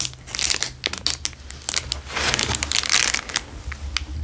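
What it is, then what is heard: Clear plastic wrapper crinkled. A square clear plastic wrapper is pressed on a table, then picked up and crinkled with fingers. Dense, bright crinkling and sharp crackles come in quick bursts that build in the middle, over a faint steady low hum.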